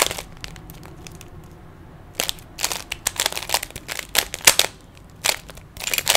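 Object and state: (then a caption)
Plastic puzzle cube being twisted. Fingertips twist the layers of a small hollow plastic 3x3 Rubik's cube, producing bursts of sharp, bright plastic clicks and clacks. The quick turns cluster in uneven flurries with short quiet gaps between them, and each click dies away almost instantly.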